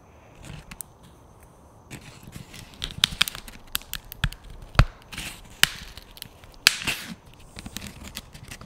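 A thin yellow-green plastic frisbee disc with a hollow underside is held over the mic while fingertips and nails tap and scratch its surface. Soft scratchy rustling is broken by sharp, bright plastic ticks and clicks, with a few louder snaps standing out.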